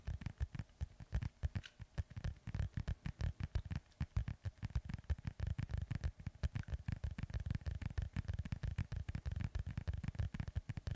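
Fingertips and nails scratch and rub the panels of a hollow, inflated synthetic leather soccer ball held close to the microphone. A rapid, steady stream of short, dull, low scratching thumps plays, each dying away almost instantly with no ring.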